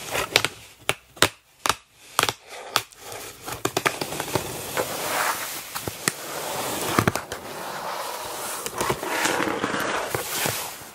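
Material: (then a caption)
Cardboard. Long black-polished nails tap and scratch the taped-shut top flaps of a large, hollow, closed corrugated cardboard shipping box. Sharp, dry, hollow taps ring out at first, then give way to a continuous bright scratching rustle with occasional clicks.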